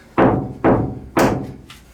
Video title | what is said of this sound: DuB-EnG: How To Make a DIY VW T6 CAMPERVAN Part4 Sound Damping, Insulating and Carpeting a PanelVan | that resonance, that noise that comes from the wheel arches, it comes from every panel